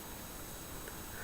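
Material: Nothing is struck.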